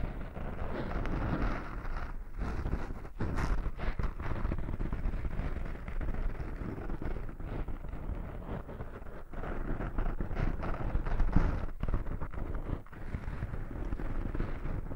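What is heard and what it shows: Fingertips and short nails steadily scratch and brush a small, soft, porous black foam windscreen over a microphone. The result is a continuous low, muffled rustling and rumbling, with brief scratchy bursts and occasional short gaps.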